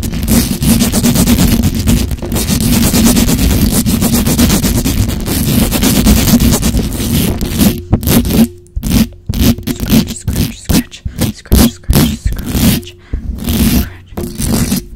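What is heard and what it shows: Long acrylic nails on both hands scratch the hollow metal mesh grille of a black microphone, making a dense, low, rumbling scrape with a bright crackling edge. For the first seven seconds or so the scratching is nearly continuous. After that it breaks into fast, choppy bursts separated by short silences.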